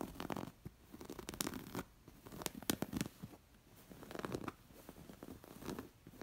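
Long nails scratch across the raised embroidered stitching of a coral square stuffed linen cushion. Quick, dry, rasping scratches come in uneven bursts with short quiet gaps between them, and each stroke stops sharply.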